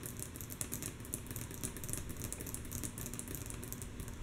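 Long natural nails of both hands tap rhythmically on a flat, solid, light wooden tabletop. The result is a rapid run of soft, bright clicks over a steady low rumble. Each tap dies away almost at once.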